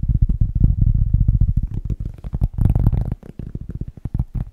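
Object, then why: Cork object. A cork object is tapped fast and aggressively with the fingers, producing a rapid, irregular stream of dull, low thumps. The taps are muffled and die away instantly, with a slightly brighter, busier flurry just past the middle before settling back into softer tapping.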